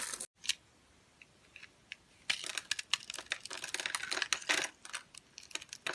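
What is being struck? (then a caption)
Translucent soap bar scored in a grid, scraped with a knife. A utility knife with a green handle scrapes tiny cubes off a solid, pale yellow, translucent bar of dry soap that is scored in a fine grid and held in the hand. Scattered bright clicks give way to a dense run of crisp, dry crunching, with short quiet gaps between bursts.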